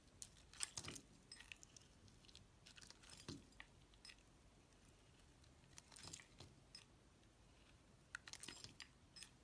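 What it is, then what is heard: Laundry soap bar being shaved. A metal utility knife blade scrapes and shaves curls off the surface of a palm-sized, solid rectangular brown household laundry soap bar, fibrous-looking where cut, held in the hand. Quiet, bright, crackly scraping bursts come in short clusters between near-silent pauses, with dry, crunchy clicks.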